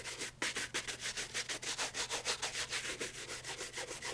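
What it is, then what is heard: Leather loafer being brushed. A brown leather loafer held in the hand is brushed rapidly with a horsehair shoe brush across the upper and the sole edge. Quick back-and-forth strokes come about three per second, each a bright, airy swish with a faint low hum underneath.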